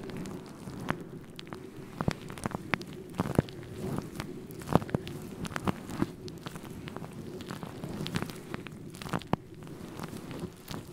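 Fingertips brush and scratch across a synthetic faux fur microphone windscreen. The result is a steady, muffled, low-heavy rustling and crackling, dotted with many short, sharp scratchy clicks that stop almost instantly.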